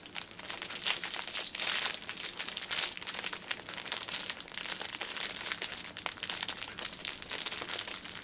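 A six-pack of paper pocket tissues wrapped in thin clear plastic film is held upright while long painted nails squeeze and tap the crinkly wrap. Dense, bright crinkling and crackling runs throughout in quick, overlapping bursts, with almost no low end and only brief ring after each touch.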